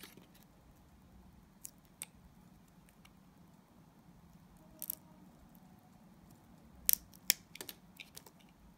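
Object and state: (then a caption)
Glycerin soap bar being shaved. A utility knife blade shaves a solid, translucent yellow glycerin soap bar. A quiet, low hum is broken by a handful of sharp, bright scraping clicks, which cluster together toward the end.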